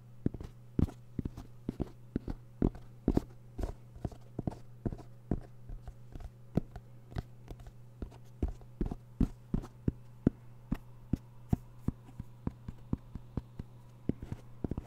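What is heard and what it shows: A small, hollow, closed black zipper case with a semi-rigid EVA shell and fabric covering is held close to the microphone and tapped and scratched with fingertips and nails. It makes a steady run of short, dry, muted taps with no ring, separated by soft scratching. A constant low hum sits underneath.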